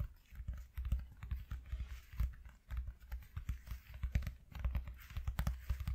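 Fingertips with short nails tap fast with both hands on a flat white corrugated cardboard sheet lying on a dark cloth. The result is a rapid, uneven patter of soft, dull low thuds with faint crisp clicks on top, each tap dying away almost at once.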